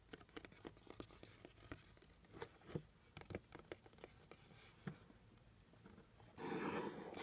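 Fingernails and fingertips tap and scratch the top of a hollow, medium-sized plain brown cardboard box. A quick, uneven run of short, dry taps with a low hollow body gives way near the end to a louder, sustained rough scratching that fills the mids and highs.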